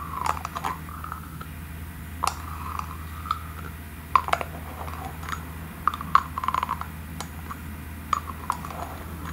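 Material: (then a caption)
Glass. A small, thick, clear glass cream jar with a gold metallic screw lid is twisted and tapped with long nails on both the lid and the glass. Sharp, quick clicks and taps ring briefly near 1 kHz over a steady low hum.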